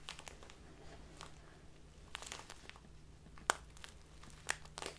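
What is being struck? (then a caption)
Clear plastic bag of loose tea. A small clear plastic bag full of loose tea is crinkled and squeezed between both hands with fingertips and long nails. Soft, irregular crinkling and rustling runs throughout, broken by a couple of sharper, bright crackles near the end, over a faint low steady hum.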